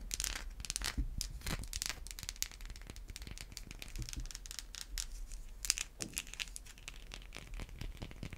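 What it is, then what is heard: Bar of soap. Long white acrylic nails scratch and tap a solid white, hand-sized bar of soap. The result is a quiet, continuous run of dry, crackly scratches broken by short, sharp ticks with almost no ring.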